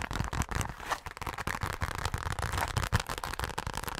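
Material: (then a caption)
Coated fabric. Long nails scratch and tap fast and unpredictably across the face and along the zipper edge of a hollow, dark glitter-coated fabric zipper pouch. The result is a dense, crackly run of scratches broken by short, dull, low taps that die away almost at once.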